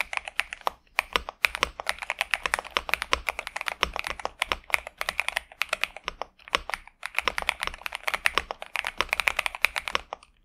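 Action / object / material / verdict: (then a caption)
tap / mechanical keyboard with plastic keycaps / plastic / none. A pink and purple Xinmeng M71 65% mechanical keyboard with TTC Superman switches and plastic keycaps, resting on a desk mat, is typed on continuously with the fingertips of both hands. The result is a rapid stream of short, bright, clacky keystrokes with almost no low end, broken by a few brief pauses.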